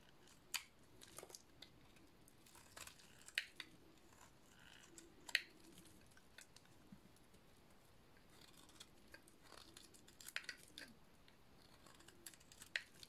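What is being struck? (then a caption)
Soap bar cut with a blade. A hand-sized, dry, painted solid blue soap bar is shaved with a metal utility-knife blade, sending blue curls falling. Crisp, bright scraping cuts and sharp clicks come at an irregular pace over a quiet background, each snapping off quickly with almost no ring.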